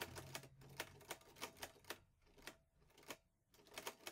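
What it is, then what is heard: Metal portable typewriter. Fingertips type steadily on the keys of a vintage teal metal Underwood Olivetti Lettera 22 portable typewriter with paper loaded. Each keystroke gives a crisp, bright metallic clack that dies away almost instantly, with short pauses between bursts of typing.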